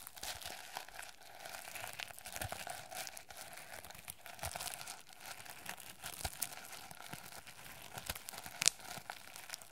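Fingernails scratch and rub the plastic sequin cover of a notebook held close to the mic, making a steady, bright, crinkly rustle scattered with tiny clicks. A sharper click stands out near the end.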